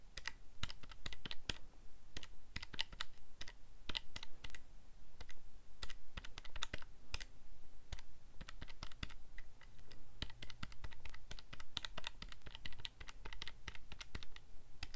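A fingertip presses the plastic buttons of a calculator keypad in quick, steady succession. Each press makes a short, bright tap that dies away almost instantly, over a faint low hum throughout.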